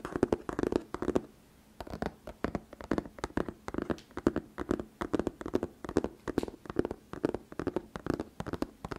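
A closed, medium-size printed cardboard retail box of Kinetic Sand, with the sand still inside, lies flat on a fluffy rug. Fingertips and medium painted nails tap and scratch its front face in quick, dry clusters of taps that die away at once. The taps have a hollow, papery tone centred around the low mids and pause briefly near the two-second mark.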